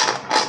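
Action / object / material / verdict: tap / deep-fried chicken piece / fried batter / crisp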